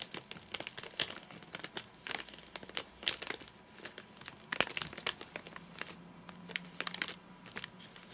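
A fingernail scratches and taps the top edge of a full, flat rectangular nougat bar in a crinkly plastic wrapper. Bright, dry crinkles and sharp, short ticks come in irregular clusters over a quiet background, with almost no low end and no ring after each tap.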